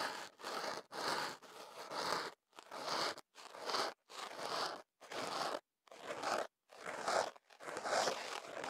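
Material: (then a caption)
Paper. A thin stick or cotton swab, held in the fingers, is inserted into the hollow opening of a tube of white kenaf paper wrapped around a small in-ear microphone, then scratched and rubbed inside. The result is a series of dry, papery scratching and rustling bursts, each lasting under a second, separated by brief silences. The sound is mid-range and crackly with a bright upper hiss.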